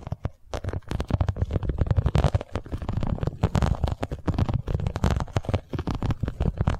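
Long nails tap and scratch the underside of a boxy, iridescent holographic vinyl cosmetic pouch held in both hands. The result is a dense run of quick, dull, low thumps that die away almost instantly, mixed with crackly scratching across the surface.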